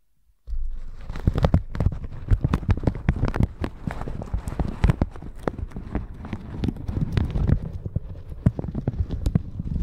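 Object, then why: Plastic shower cap brushed with a silicone bristle brush. A plastic shower cap stretched over a microphone is brushed with a round red silicone bristle brush. After a brief silence, a steady run of quick, close crinkling strokes and soft thuds follows, heavy in low rumble with sharp bright scratches on each stroke. The brushing keeps going without a pause to the end.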